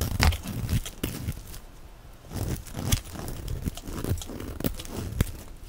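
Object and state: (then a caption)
Bar of soap being shaved. A black cutting blade shaves strips off the edge of a solid, translucent, palm-sized orange bar of dry soap held in the hand, using repeated scraping strokes. Each stroke makes a dry, low, scratchy rasp with short bright crackling streaks, and the strokes come in a steady, uneven rhythm.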